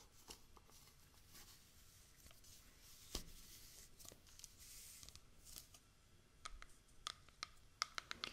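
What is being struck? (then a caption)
Small plastic cosmetic jar with screw lid. A small round yellow plastic jar of eye patches with a screw lid, probably full, is tapped and scratched on its lid and sides with long manicured nails. Quiet bright scratching and rustling is broken by short, sharp plastic clicks. The clicks grow more frequent toward the end.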